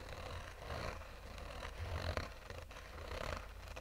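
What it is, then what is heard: Fabric-covered hard sunglasses case being scratched. Short fingernails slowly scratch a black oval sunglasses case with a textured fabric covering over a hollow, rigid shell. The result is a soft, continuous rasping with a low, hollow rumble underneath and faint brighter scratchy texture, swelling and fading gently with each stroke.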